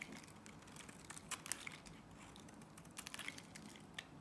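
A box-cutter blade cuts crumbly shavings off the end of a solid blue Nivea soap bar. It makes quiet, dry, bright crunching and crinkling, with a few sharper crisp snaps among the steady scraping.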